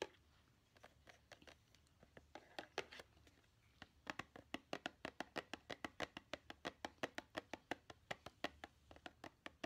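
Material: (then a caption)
Cardboard. A small, hollow blue printed cardboard takeout-style gift box with a snowman and penguin, held in the hand, is tapped rapidly with long painted nails. Quiet, dry, bright clicks with almost no ring come sparsely at first, then settle into a steady, quicker run of taps.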